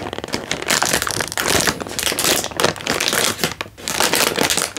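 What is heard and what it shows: A sealed, hand-sized plastic-film instant noodle packet, full with a dry noodle brick, is held in one hand and squeezed and crinkled with the thumb and fingertips over an open cardboard box. It makes a dense, continuous run of bright, crackling crinkles with little low end, briefly easing before picking back up.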